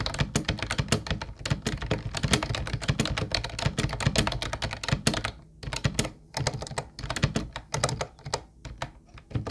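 Fingertips of both hands type quickly on a mint-blue plastic retro Ubotie keyboard with round white keycaps. It makes a dense stream of short, clacky taps with a low, hollow body and bright clicks that die away almost instantly. Brief pauses break up the typing in the second half.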